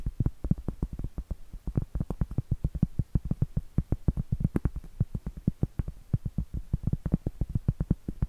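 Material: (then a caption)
Cork. Long acrylic nails rapidly tap and scratch the face of a round, flat, solid cork trivet held upright. The result is a steady stream of short, dull, low thuds with almost no ring and very little bright content.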